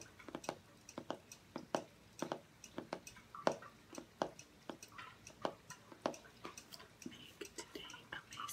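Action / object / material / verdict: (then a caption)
tap / hardcover journal with cardboard covers / cardboard / none. Fingernails tap and scratch the front cover of a closed, book-sized grey-and-white striped hardcover journal with cardboard covers and gold lettering, held upright on a wooden table. Dozens of quiet, dry, sharp taps with a hollow midrange knock come in an uneven rhythm, each dying away almost instantly. Soft, brighter scratching strokes mix in toward the end.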